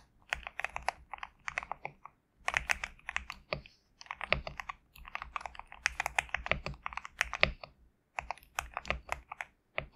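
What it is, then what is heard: Mechanical keyboard with PBT keycaps. A compact GMK67 mechanical keyboard with white and cream PBT plastic keycaps on a black case is typed on by the fingertips of both hands. Bright, short clacky keystrokes come in quick bursts with brief pauses between runs.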